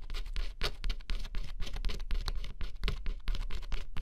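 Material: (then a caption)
Cardboard. Fingertips hold a small metal scratching stylus and scrape the thin black scratch-off coating from a flat, solid cardboard jigsaw puzzle lying on black fabric. Quick, uneven scratching strokes come about four per second, each a short, dry, gritty burst reaching up into bright hiss and dying almost at once. A low rumble sits underneath throughout.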